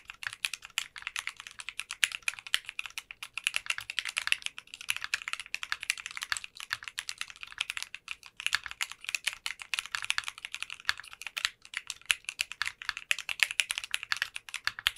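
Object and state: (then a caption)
Mechanical keyboard with polycarbonate keycaps. A 60% custom mechanical keyboard with translucent pink polycarbonate keycaps is typed on continuously with the fingertips of both hands. Rapid, dense keystrokes make bright, sharp clicks and clacks with almost no low end and very short decay, in a steady stream with brief pauses.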